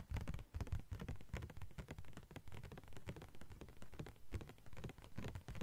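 A thin yellow-green translucent plastic sheet is tapped and scratched with long nails, producing a dense, uneven patter of short crinkly taps and scrapes. Each tap dies away almost at once, with most of the energy in a soft, low thump and little high brightness.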